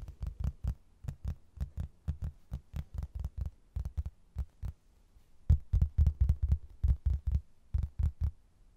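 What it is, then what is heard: Laminated hardboard placemat. A rigid, flat, rectangular laminated hardboard placemat, a solid thin board with a blue textured border and a printed photo of an Irish castle, is held up in both hands and tapped and scratched with fingertips and nails. About 34 short, dull, low thuds come in an uneven rhythm, pausing briefly in the middle before resuming a little louder. Each tap is deep and muffled with almost no ring.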